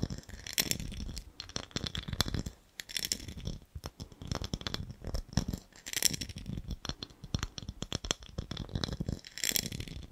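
Fingernails scratch and tap along the ribs of a small, clear, empty, hollow ribbed glass jar with a gold lid. The result is a dense, rattling stream of quick, bright clicks and scrapes over soft low thumps, with each tap dying away almost instantly.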